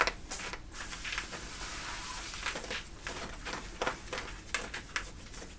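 Fingernails scratch and rub the thick cotton fabric at the back pocket area of worn light-blue denim jeans. The result is a steady, bright, rasping scrape with sharper scratchy bursts standing out over the continuous rubbing.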